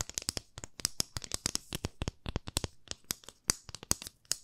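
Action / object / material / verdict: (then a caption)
tap / wooden ruler / wood / none. A 30 cm solid, light wooden ruler with a printed scale is held in both hands and tapped with long fingernails. About 27 quick, dry clicks land in an uneven, rapid rhythm over four seconds, each bright and sharp with no ring, and a faint low thump beneath some of them.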